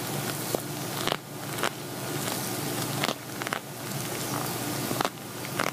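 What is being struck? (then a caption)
Glitter-coated vinyl zippered pouch. An empty, hollow silver glitter vinyl zippered cosmetic pouch, held in both hands, is scratched and tapped with fingernails. A steady crackling scrape runs throughout, broken by about six short, sharp taps with bright edges.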